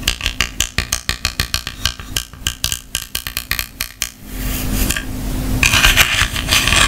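Long painted fingernails tap and click on a small, hollow white plastic clamshell travel lint remover case, held open in one hand with dark tool pieces inside. A quick, uneven run of sharp, bright plastic clicks fills the first four seconds. It then gives way to a continuous scratchy rustle that grows louder toward the end.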